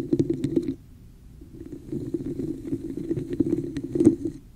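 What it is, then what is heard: Textured plastic cup. Long nails scratch the woven-textured sides of a hollow red plastic cup held over the mic, making a hollow, scratchy rasp with a mid-low resonant hum. A loud burst of scratching drops away to near silence around the first second, then the rasping resumes and builds steadily, with bright clicky flicks, peaking just after four seconds before fading.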